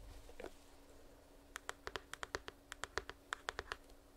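A small, closed, printed cardboard retail box for earbuds is held in hand near the mic and scratched with long nails, giving a soft rasping, papery rustle. This is followed by about 17 quick, dry, hollow taps that stop sharply, each with a bright click.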